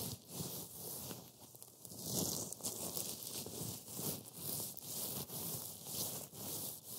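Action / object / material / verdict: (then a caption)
scrape / wafer crumbs on a board / wafer / none. Fine green matcha wafer crumbs on a white board are rubbed and pressed by black-gloved fingertips. The result is a continuous dry, gritty rustling and crunching with a bright, hissy top, swelling and easing in repeated strokes over about seven seconds.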